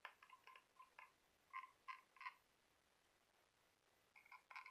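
Fingernails tap and scratch the smooth outer surface of a small glossy orange conch shell held in the hand. Quiet, short, bright clicks ring near 1 and 2 kHz in an irregular series, each dying away almost instantly. A quiet pause in the middle is followed by a final cluster of taps.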